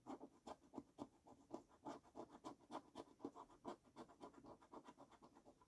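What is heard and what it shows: A coin scratches the latex coating off the left column of a fresh paper scratch card lying on a wooden table. It makes a quick, uneven series of dry, rasping strokes, each a short burst centered in the low-mid range with a bright, airy edge. The strokes stop sharply with no ring.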